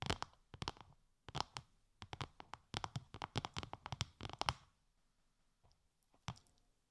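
Long light-grey nails tap a translucent, bubble-textured plastic sheet wrapped over the ears of a 3Dio binaural microphone. Quick clusters of crisp, dry taps carry bright plastic clicks over a soft low thump, with almost no ring after each tap. Around five seconds the tapping thins out to a few scattered light taps near the end.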